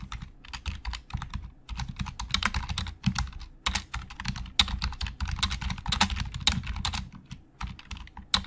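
Both hands type with their fingertips on a black plastic Logitech keyboard with hollow plastic keys. Quick, dry, bright clicks come in uneven bursts with short pauses, each over a soft low thump and dying away almost at once.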